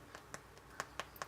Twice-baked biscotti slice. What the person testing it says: they're pretty much cooked up quite nicely. You can probably hear that.